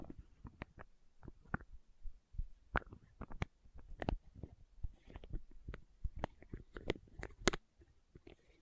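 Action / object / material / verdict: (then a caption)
tap / small plastic condiment bottle with plastic cap / plastic / none. Long nails tap and scratch the red plastic cap and body of a small labeled condiment bottle held close, and work its lid. Quiet, dull, low-heavy taps come in an irregular run of short, dry clicks. Occasional brighter scraping and clicking bursts come from the cap.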